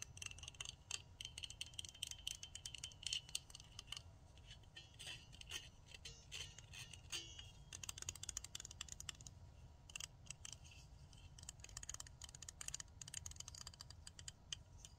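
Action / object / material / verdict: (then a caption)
tap / plastic nail tip cutter with metal blade / plastic / none. Long fingernails tap and scratch quickly over a handheld pink plastic nail tip cutter with a metal blade and a solid body. The result is a dense stream of bright, sharp plastic clicks and scrapes, with a steady low rumble of noise underneath.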